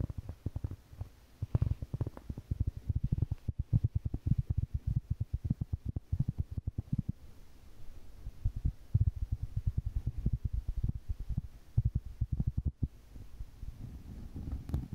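Long painted fingernails tap and scratch the surface of a large round solid cork board at close range. The result is a fast, irregular run of soft, dull, low thumps that stop dead with no ring, broken by quieter stretches of low rustling scratching.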